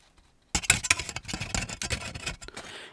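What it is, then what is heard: Foil-wrapped chocolate bunny. A small solid chocolate Easter bunny wrapped in green patterned aluminium foil is held in one hand close to the mic while fingertips and nails scratch and tap the crinkly foil. After a brief near-silence, a burst of bright, dense crackling and scraping starts and runs in quick, uneven taps and rustles until the end.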